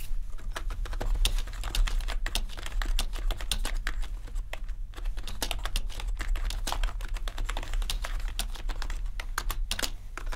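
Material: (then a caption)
Plastic, metal. Both hands type steadily with their fingertips on a full-size gaming keyboard with a grey metal top plate and black plastic keys. It makes a continuous stream of short, bright clicks over a constant low hum.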